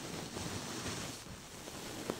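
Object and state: Nothing is struck.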